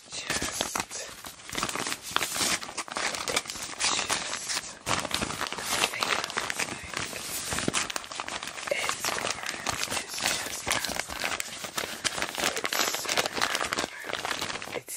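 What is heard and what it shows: A small, empty, dark brown Tyvek synthetic fiber paper pouch is held in both hands and opened, folded and crinkled by fingertips with long black nails, while a second pouch still sealed in plastic lies untouched nearby. Dense, continuous bright crinkling and crackling of the thin papery material runs throughout, with many quick, dry rustles and almost no low end.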